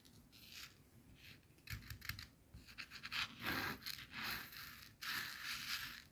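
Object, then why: Coarse salt crystals on a plastic board. A small pile of coarse white bath salt crystals on a white plastic cutting board is rubbed, pressed and scratched through by fingertips and long nails. The result is bursts of bright, gritty scratching and crunching as the loose grains shift and grind, arriving in an irregular rhythm with brief quieter gaps between them.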